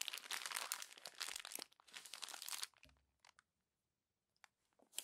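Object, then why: Glossy paper magazine pages. Hands with long pink nails crumple the pages of an open glossy paper magazine lying flat into a pile of crinkled sheets. Bright, dense crinkling and tearing-like rustles fill the first two and a half seconds, then a soft low thump and a few sparse crinkles follow before a sharp final rustle.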